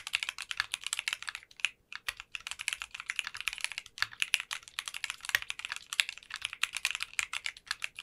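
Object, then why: Mechanical keyboard with plastic keycaps. Continuous typing with both hands' fingertips on a 60% custom mechanical keyboard fitted with translucent pink polycarbonate keycaps. It makes a steady, quick stream of bright, crisp clacks that cut off almost instantly, centered around 2.7 kHz with almost no low end.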